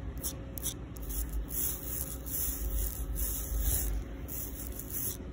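Long pink acrylic nails, on fingers wearing rings, scratch and tap the rough surface of a solid, flat outdoor concrete sidewalk slab. Bright, gritty scraping bursts come and go over a steady low rumble.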